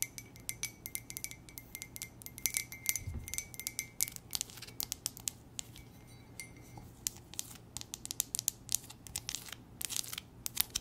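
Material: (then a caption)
Ceramic. A hollow, empty white ceramic J mug with gold trim and a gold base is tapped and scratched with long nails. The result is a quiet, steady run of quick, bright clicks and scratchy ticks, each ending almost at once, with a faint held ring near 2 kHz and one soft low thump about three seconds in.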